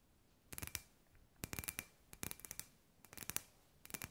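Long grey nails tap a hand-sized, hollow, clear glass sphere lamp with LED fairy lights inside. The taps come in four quick bursts of bright, sharp clicks that die away almost instantly, with quiet pauses between the bursts.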